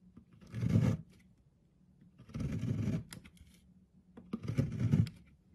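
A thin blade scrapes across an oval, pale green solid bar of soap held in fingers on a wooden board, shaving thin flakes off its surface. Three soft, low, raspy scraping strokes are heard, separated by quiet pauses.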